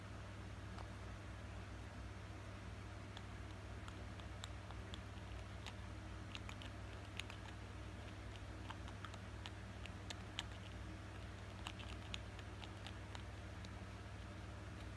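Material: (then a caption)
Acrylic plastic. A small, hollow, clear acrylic cosmetic jar with a metallic band and a pale green plastic lid is held in the hand while its lid and rim are tapped repeatedly with fingertips and nails. The result is quiet, irregular, short, bright clicking taps that die away almost instantly, over a steady low hum.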